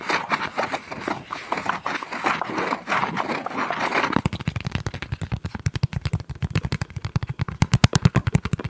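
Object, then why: Thin corrugated cardboard sheet. Fingertips and short nails rub and scratch across a thin, palm-sized flat sheet of brown corrugated cardboard held in both hands. For about four seconds there is a dense, bright, papery scratching. It then gives way to a fast run of short, dry taps with a soft low thump, each dying away almost at once.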